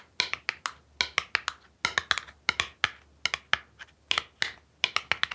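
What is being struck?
Small cardboard box tapped with fingernails.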